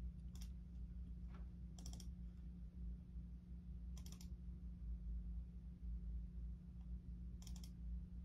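Fingertips tap the keys on the left side of a black plastic Logitech computer keyboard, giving a few short, bright clicks spread across the clip. A steady low hum sits underneath and stays louder than the keystrokes throughout.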